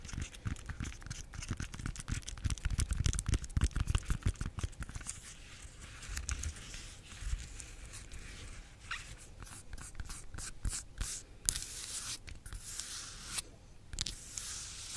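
Long nails tap and scratch the skin of a bunch of yellow, unpeeled bananas held close. Quick, irregular dull taps with soft low thuds come first, then quieter, crisp scratching with bright rasping bursts toward the end.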